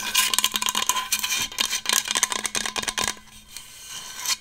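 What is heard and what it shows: Long acrylic nails tap and scratch a large, hollow, black powder-coated Hydro Flask stainless steel water bottle held close to the microphone. A rapid run of bright clicks and scrapes with a faint ringing tone near 1 kHz fills the first three seconds. It then thins into a quieter rubbing scrape that ends with one last soft swipe.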